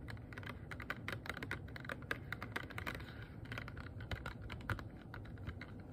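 Fingernails tap rapidly on a small, hollow, empty, transparent rigid plastic box. The result is a dense run of short, crisp clicks with a hollow knock around 1.6 kHz, each dying away almost at once over a steady low rumble.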